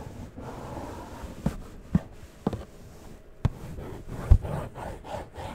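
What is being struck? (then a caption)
Cardboard box with plastic window. Fingertips and nails rub and scratch along a small hollow cardboard collectible toy box with a plastic window, held close to a fuzzy mic, giving a soft, low, rasping rub. Six brief dull knocks stand out above the continuous scratching.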